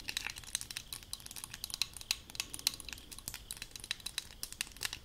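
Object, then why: Aluminum spray bottle. Long acrylic nails tap and scratch the sides of a hollow, light blue aluminum leave-in spray bottle held in both hands. The result is a quiet, continuous stream of rapid, irregular clicks and scratchy crinkling, all bright and high with almost no low end. Each tap is short and dry, with no lingering ring.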